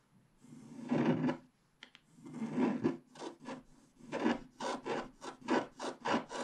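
A wooden stylus scrapes the black wax coating of a flat scratch-art card, revealing the colored base in the sky area above a unicorn. It makes dry, raspy scratching: a few longer drawn-out strokes, then a run of shorter, quicker scrapes with brief pauses between them. The sound is close and mostly midrange, with light bright edges.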